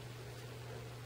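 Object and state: Nothing is struck.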